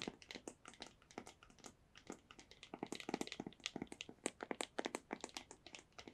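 Long nails tap the faces of a small, hollow, white cardboard earbuds box, about 38 quick, uneven taps over six seconds. Each tap is a soft, dry, papery click with a hollow body and a bright edge, dying away almost at once. The tapping stays quiet throughout, with little low end.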